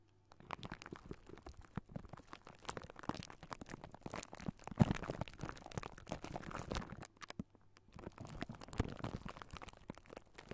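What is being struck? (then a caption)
Metal wire-mesh microphone grille. Fingertips of both hands scratch and rub across a hollow silver wire-mesh metal microphone grille, producing a dense, quiet stream of crackly, rumbling scrapes with a heavy low-end boom. The texture is continuous with many small overlapping strokes, briefly pausing near the seven-second mark before resuming.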